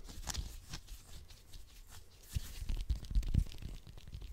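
A whole small orange with a textured peel, held in the hands, is scratched and tapped quickly with fingernails close to the microphone. Bright, papery scratching streaks mix with soft, low thumps from the taps on the solid fruit, growing louder and busier in the second half.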